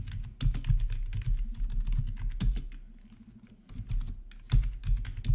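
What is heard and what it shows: Both hands type with their fingertips on a full-size black plastic RGB membrane gaming keyboard with rainbow backlit keycaps, resting on a marble surface. The result is a steady run of soft, dull keystroke clatter with deep thuddy bottoming-out and brief clicky ticks, which eases into lighter, quieter tapping midway before picking back up.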